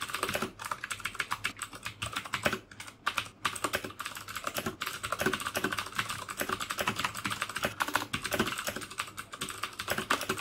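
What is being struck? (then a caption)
Plastic mechanical keyboard. Fingertips type steadily on the keycaps of a black plastic mechanical keyboard with clicky Cherry MX Blue switches. The sharp, bright clicks come in dense, rapid bursts with brief pauses, each one dying away almost instantly.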